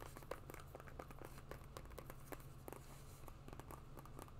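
Long nails tap and scratch the webbing straps and green rubber outsole of a rubber-and-webbing sport sandal, giving a quiet run of rapid, dry clicks and brief crinkly scrapes. The clicks are short with almost no ring, over a steady low hum.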